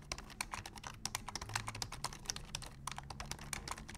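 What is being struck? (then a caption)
Plastic computer keyboard. Both hands tap the keys of a black plastic full-size computer keyboard with their fingertips in fast, steady typing. Each keystroke is a short, bright click that dies away almost at once, over a faint low hum.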